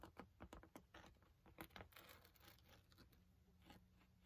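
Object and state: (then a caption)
Padded nylon binocular case. Fingertips tap and scratch the surface of a medium-size black padded nylon binocular carry case with a velcro flap. Quick dry taps and soft scratchy rustles come in an uneven run, sharper near the start and then settling into steadier, quieter scraping. Each touch stops at once with no ring.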